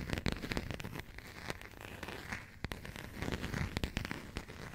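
A small burgundy passport with a coated cardboard cover is scratched and tapped by long nails, with some handling of its pages. Quick, sharp taps and clicks are heard over a steady low rustling and scratching, with brief brighter crinkles from the pages.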